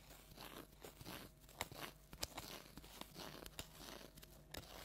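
A large orange plastic tinsel jack-o'-lantern decoration is scratched and crunched with long nails. Dry, bright crinkling rustles run throughout, punctuated by sharp crunchy snaps at an uneven pace.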